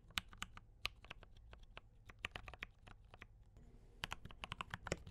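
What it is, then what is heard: Mechanical keyboard typing. Fingertips of both hands type on a D84 mechanical keyboard with brown switches and cream and red plastic keycaps. It makes a quiet, steady run of sharp, bright clacks that die away instantly over a faint low rumble. The typing briefly thins out near the middle before picking back up.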